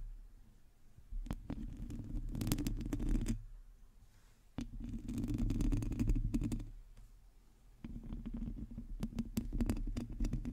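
Long teal acrylic nails on both hands scratch the round, hollow metal mesh grille of a black USB condenser microphone. The result is a close, dense low rumbling scrape with sharp ticking clicks, arriving in three sustained bursts separated by brief quieter pauses.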